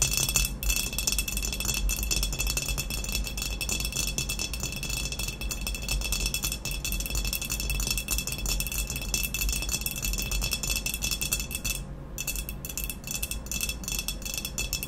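Long nails tap rapidly on an upright, hollow, glazed ceramic vase with a matte black textured body. The result is a dense, continuous rattle of bright clicks over a steady high ringing tone and a low rumble, with a brief dip in the clicking around the twelve-second mark.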